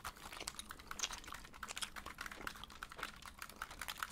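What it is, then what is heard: Plastic game controller. A handheld blue and white plastic video game controller with a hollow shell is held in both hands close to the microphone while fingertips and thumbs press and tap its buttons and shell. The result is a quick, continuous run of short, dry, bright clicky taps, each dying away almost instantly, over a faint low background hum.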